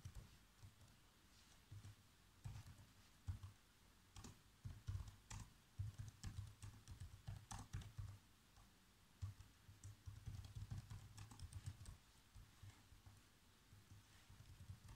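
Fingertips type fast on the black plastic keys of a laptop keyboard, typing out a script. A steady run of quick, dull key taps is heard: each has a soft low thump with a brief bright click and dies away almost at once. The taps come in bursts with short pauses between them.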